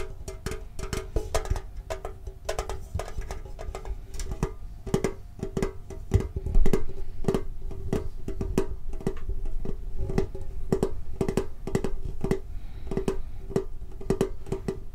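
A hollow red and blue printed metal Pokemon card tin with a lid is held and tapped on the lid with the fingertips. The result is a steady stream of quick, dry, hollow taps with a short metallic ring. The taps grow slightly louder partway through.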